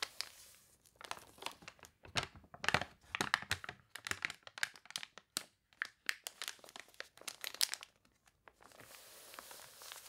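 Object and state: Water-warped paper catalog.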